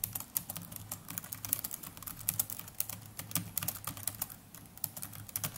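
Fingertips of both hands type continuously on the plastic chiclet keys of a small black netbook. A quick, steady stream of short, bright, clicky key taps rises and falls in loudness over a faint, steady low hum.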